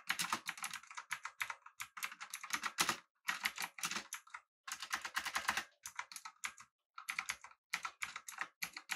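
Fingertips of both hands type on a full-size backlit typewriter-style mechanical keyboard with an aluminum body and round plastic keycaps. Rapid, bright, clacky key taps come in dense bursts separated by brief pauses, each tap short with almost no ring and no low-end weight.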